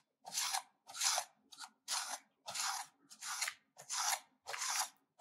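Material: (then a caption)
Soap. A solid pink bar of soap is scraped back and forth with a stainless-steel grater held over it, and the shavings collect in the grater. Nine bright, dry rasping strokes come at an uneven rhythm, each a short, hissy scrape with quiet gaps between.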